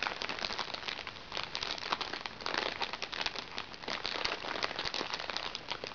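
Long red-painted fingernails scratch and tap a small, flat, hollow makeup bag made of crinkly recycled plastic water-sachet film with a fabric trim, lying flat on a lap with nothing visible inside. The result is a steady, bright crinkling and crackling with quick sharp ticks and almost no low end, at a fairly soft level throughout.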